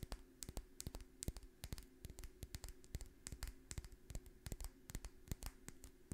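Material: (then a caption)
Glass. Long fingernails tap and scratch a small dark glass essential oil dropper bottle with a label, held close to the microphone. Quick, sharp clicks and light scratching come in an irregular stream over a faint, steady low hum.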